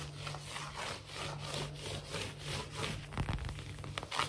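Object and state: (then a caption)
Laminate floor scratched with fingernails. Fingernails of both hands quickly scratch and rub the surface of a large, solid, glossy wood-look laminate floor. A steady run of rhythmic, breathy rasping strokes fills the clip, with a constant low hum underneath and a few sharper scrapes near the end.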